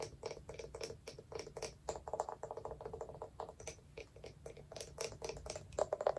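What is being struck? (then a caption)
Small round wooden jar with lid. Long nails tap rapidly and unevenly on the side and lid of a small, hollow, round wooden jar with a lid. About 34 quick, dry clicks are heard, each with a short hollow knock around 600 Hz and a bright tick, dying away almost instantly.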